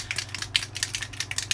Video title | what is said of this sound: New Solar Sprays from Simon Hurley! | shake it up make sure you hear the little ball in there